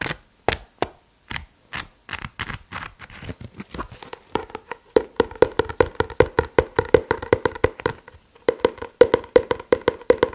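A paper book is tapped with the fingers, with no talking. The taps start slow and sparse, then speed up into quick, dense runs with a brief pause near the 8-second mark. Each tap is short and dry, with a hollow tone around 465 Hz.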